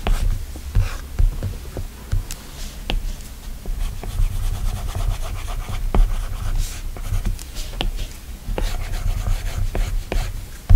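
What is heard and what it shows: A plastic stylus tip strokes and taps the flat, solid glass screen of an iPad tablet, while fingertips swipe and pinch across the glass. Soft rubbing and scratchy strokes mix with short, bright, irregular ticks from the taps over a steady low rumble.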